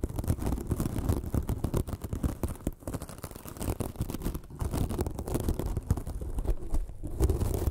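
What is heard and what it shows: A small white sparkly porous foam sponge is scratched with long fingernails, making a dense, continuous run of quick scratchy rasps. The sound is low and muffled, with most of its energy in a rumbly low range and almost nothing bright on top.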